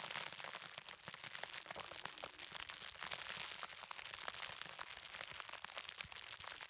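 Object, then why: Plastic bubble wrap. A large roll of clear plastic bubble wrap is held upright while fingertips press and pop its bubbles. Sharp, bright cracks and crinkles come in quick succession over a continuous high crackle, with little low end.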